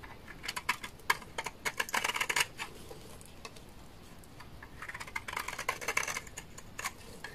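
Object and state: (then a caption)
Dry laundry soap bar. A large, solid, beige bar of dry laundry soap is scraped with a utility knife blade. Rapid, dry, crisp scratching and clicking comes in two busy bursts separated by a quieter stretch, bright and short with little low end.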